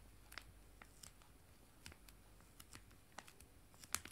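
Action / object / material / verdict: tap / foil-laminated wet wipe sachets / foil laminate / none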